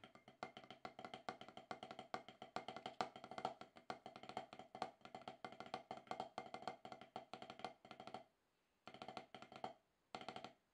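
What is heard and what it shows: Wooden drumsticks alternate quick taps on a solid, octagonal HQ rubber-top practice pad, producing dry, short knocks with a woody mid-range tone. The steady stream of rapid, uneven strokes pauses twice near the end before short final bursts.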